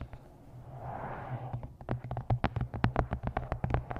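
Long nails tap the glossy card cover and edges of a paperback book. A soft, low rustling swell comes first, then about nineteen short, dry clicks with a dull low thump arrive in a quick, uneven run over a steady low hum.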